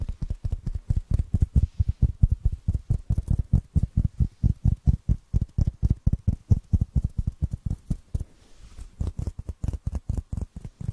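A small black foam block that looks solid and porous is held in the hand and scratched and tapped with fingernails. The result is a fast, steady run of dull, low, muffled thuds with no ring, broken by a brief softer stretch of scratching before the tapping resumes.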